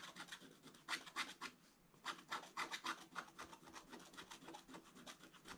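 A wooden stylus scratches lines into the black coating of a scratch-art paper page, making a quiet, bright rasping in a quick series of short, uneven strokes. The scratching briefly pauses near the middle of the clip and then resumes with steady back-and-forth rubbing.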